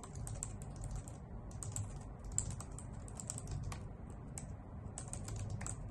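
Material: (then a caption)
Plastic. Long nails and fingertips type steadily on a white full-size plastic computer keyboard with hollow key caps. Quick, bright clicks and clacks rattle over a soft, constant low rumble, with short, sharp keystrokes and no ringing.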